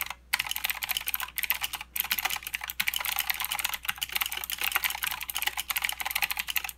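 Both hands type with their fingertips on a mechanical keyboard with plastic keycaps and blue switches, producing a fast, dense stream of bright, crisp clicks. The typing breaks off in two short pauses near the start, then carries on steadily to the end.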